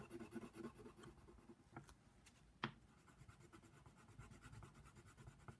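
A brown wooden colored pencil rubs and scratches across the flat white paper page of a coloring book, shading a giraffe's nose. Soft, dry scratchy strokes continue at a low level, with a few sharper, brighter ticks standing out briefly near the middle.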